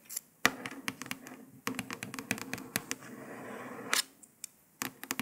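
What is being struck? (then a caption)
Paper sticker on a laptop lid. A long fingernail traces letters across a printed paper sticker on a grey laptop lid, then several nails tap on it. Sharp, dry, bright clicks and taps come in quick clusters, with a soft, steady scratchy rasp from the tracing in between, and each tap dies away almost at once.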